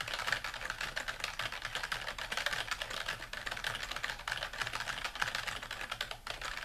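A dark plastic computer keyboard, a flat device with hollow keys resting on a desk, is typed on rapidly with the fingertips of both hands. The result is a dense, continuous stream of quick, bright, clicky key taps with almost no low-end weight.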